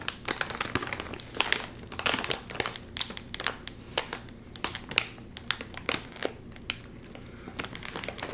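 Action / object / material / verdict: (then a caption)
scrape / metallized plastic film chip bag / plastic film / none. Both hands pull apart the top of a full Doritos chip bag made of metallized plastic film, crinkling it. A dense run of sharp, bright crackles and crinkles sounds over a quiet low background, with short louder bursts of snapping film throughout.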